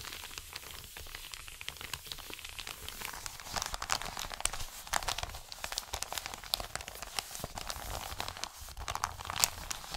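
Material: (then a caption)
Paper. An Amazon kraft-paper padded mailer is rubbed with the palm and fingers, then lifted and crinkled. Soft, steady rustling and scratching give way to denser, brighter crackles and crinkles. Many sharp, quick snaps sit over a quiet, dry bed of paper noise.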